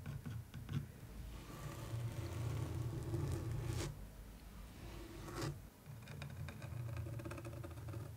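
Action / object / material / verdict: scrape / textured canvas print rubbed with a wooden stick / canvas / none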